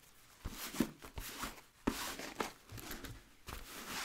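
A hollow, empty wheat nubuck leather boot with a rubber sole is held sole up while its rubber sole edge and upper are rubbed with a blue microfiber cloth. About seven soft, quick swishing strokes each start with a dull low thump and trail into a bright, breathy hiss, with little ring after each one.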